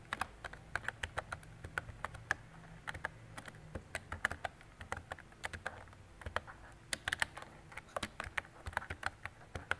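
Fingertips and long decorated nails type steadily on a mint-green retro plastic mechanical keyboard with round plastic keycaps and a hollow body. About 47 quick, sharp clicks ring out, each with a bright, hollow clack centered near 1.7 kHz. A faint low hum sits underneath.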